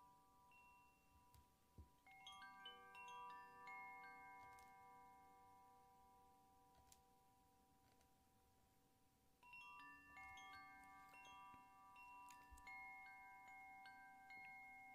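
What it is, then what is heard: Bamboo koshi wind chime. A hollow bamboo koshi wind chime is held by its cord with the fingertips and swayed, so its internal rods strike and ring out. Bursts of bright, overlapping bell-like tones sustain for several seconds and slowly fade, with a quieter pause before a second flurry of chiming.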